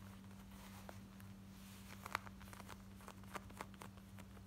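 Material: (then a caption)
Denim. Long nails scratch the front and pocket of worn, light blue distressed denim shorts with ripped fabric, making quick, dry rasping scratches. The short bursts sit over a steady low hum, with a few sharper scrapes standing out near the middle and end.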